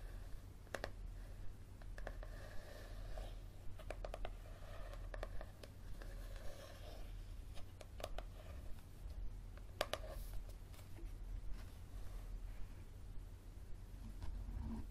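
Fingernails scratch and tap the card cover of a yellow paperback book, first held tilted and then lying flat. Quiet, dry, sharp taps with almost no ring are scattered at an uneven pace between soft scraping passes in the midrange. A steady low hum sits underneath throughout.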